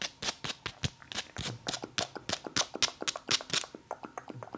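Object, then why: Firm foam massage ball. Long nails rapidly tap and scratch a firm, hand-sized, black speckled foam massage ball. About 22 crisp, dry clicks and scrapes follow in a fast, uneven rhythm, each dying away almost instantly with a bright, high-pitched texture.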